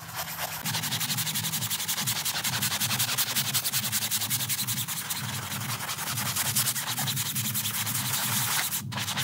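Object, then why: Printed low-pile synthetic rug scrubbed with a stiff-bristle brush. A gloved hand scrubs a small printed low-pile synthetic doormat rug covered in foam with a round stiff-bristle brush. Rapid back-and-forth strokes, about three to four a second, make a bright, hissing, bristly rasp over a steady low hum. The scrubbing runs unbroken for the whole clip.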